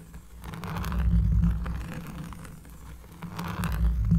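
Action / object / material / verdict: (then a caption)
scrape / cork surface / cork / none. A cork surface is scratched up close, producing a deep, bassy rasping that swells and fades in waves. Low rumbling dominates, with faint scratchy texture on top.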